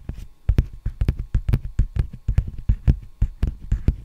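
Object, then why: Plastic bubble mailer envelope. Fingertips tap and scratch the surface of a large, empty black poly bubble mailer envelope held vertically. A quick, uneven series of dull, low thuds with almost no ring follows, with soft scratchy rustling between the taps.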